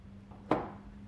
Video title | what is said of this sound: Stretched Bags For Your Harley Davidson Under $200 | it's got a nice little thud to it when it locks the lid's not shaking it don't feel loose